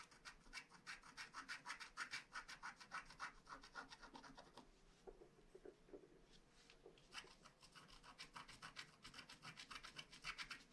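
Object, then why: Paper scratch-art card with black coating, wooden stylus. A wooden stylus repeatedly scratches and rubs the black coating off the castle on a flat paper scratch-art card. It makes quick, dry, bright rasping strokes at a fast, uneven pace. The strokes briefly thin out into a softer, slower stretch in the middle before the rapid scratching resumes.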